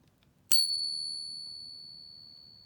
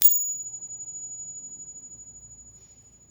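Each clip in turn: First: A single bright ping that rings on cleanly for well over two seconds: a genuine silver dollar. Second: A coin pinged once gives a thin, very high ring that lasts a few seconds, yet it is a fake.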